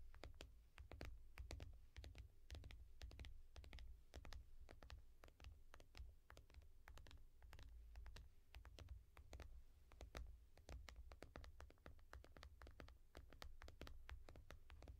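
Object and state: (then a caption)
Tablet glass screen tapped with fingernails. Several long painted nails tap quickly and scratch lightly on the glass screen of a small tablet in a yellow foam rubber case. Rapid, sharp, dry clicks come in dense bursts over a steady low hum, with each tap cutting off almost at once.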